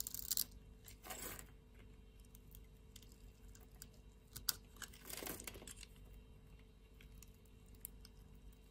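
A solid, hand-sized blue soap bar held in the palm has a grid scored into it with a metal utility blade, which then scrapes off cubes. Bright, crisp scraping bursts come through, with the loudest strokes near the start, around one second and around five seconds, separated by quieter faint scratches and ticks.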